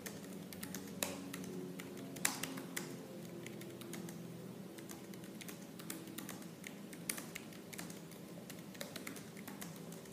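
Fingertips with painted nails type fast on the black plastic keys of a silver laptop keyboard, giving a steady stream of light, bright clicks. A few sharper taps stand out over a soft low hum underneath.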